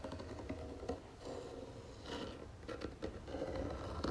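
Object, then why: Small round wooden box. Long nails tap and scratch the wooden lid of a small round wooden jewelry box with gold trim and a drawer, held in both hands. The result is quiet, soft, dull taps mixed with continuous scratchy rubbing that dies away quickly, with most of the weight in the low end.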